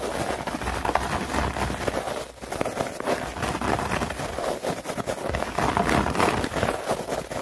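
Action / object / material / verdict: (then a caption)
scrape / synthetic turf mat with plastic grass blades / plastic / none. A flat-lying synthetic turf mat with plastic grass blades is scratched and raked quickly with long nails and fingertips. The result is a dense, continuous, crackly rustle centred in the midrange, with a short lull a little past two seconds before the fast scratching picks up again.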